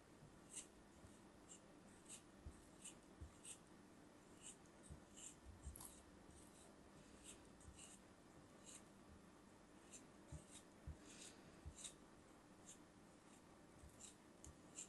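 A craft knife blade cuts and scrapes through a solid, molded brown kinetic sand block held in hands. The sound is a quiet, close, gritty crunch with repeated short, bright slicing ticks over a soft low rumble. Each cut dies away almost instantly.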